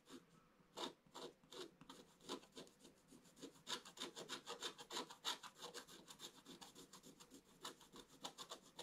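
A wooden stylus scratches along the lower part of the picture on a black-coated scratch-art page lying in a flat book. It makes a quick, uneven run of short, dry, bright scratching strokes, roughly three per second, with a rasping, filing texture and almost no low end.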